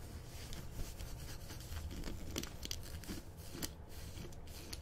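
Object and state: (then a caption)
Corduroy fabric scratched. Painted fingernails and fingertips scratch and rub a green ribbed corduroy dress worn on the body, a soft textile. Quiet, dry rasping scrapes come in short, bright streaks over a steady low rumble, with faint crinkly texture between strokes.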